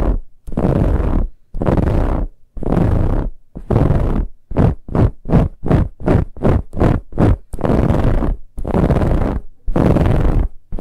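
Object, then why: Ribbed fabric pillow. Fingernails scratch vigorously at the sides of a soft brown, finely ribbed fabric pillow, making loud, dense rasping strokes with a heavy low-end rumble. Long, drawn-out scrapes give way to a run of quick, short strokes in the middle, then return to long scrapes at the end.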